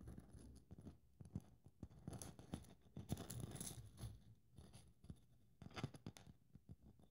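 Long nails scratch over the rough glitter coating of a hand-held, hollow silver glitter ball Christmas ornament with a blue bow design. The result is quiet, dry, low-heavy scratching and crackling made of many short scrapes, with brighter hissy bursts around the middle and near the end.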